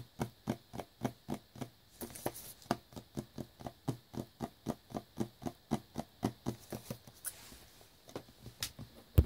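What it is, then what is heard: Cellophane-wrapped cardboard box. Fingertips tap a small black cardboard earbuds box wrapped in clear plastic film as it lies on a brown towel. About 30 short, dull, low taps come in a quick, steady rhythm, each dying away almost at once. Brief bright crinkles of the wrap can be heard in between.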